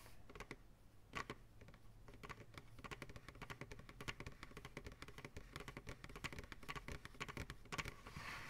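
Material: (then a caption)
Plastic. Fingertips tap quickly and steadily on the base and sides of a medium, hollow, empty white plastic ice cream pail turned upside down. The result is a run of short, dry, hollow clicks with brief bright accents, over a faint steady low hum.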